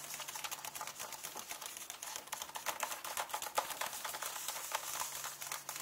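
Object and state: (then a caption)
Paper book pages tapped with nails. Fingernails tap and scratch rapidly on the paper pages of an open hardcover book. The result is a quiet, dense, uneven run of crisp, dry clicks and scratchy rustles, bright and papery, with no ringing after each touch.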